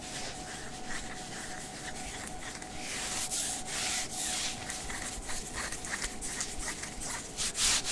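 Fingertips and nails scratch a worn light blue sheer synthetic mesh long-sleeve top at the shoulder and upper sleeve. The result is a steady, bright, hissy scratching with quick strokes that grow louder and more broadband partway through. A faint, steady tone runs under the scratching.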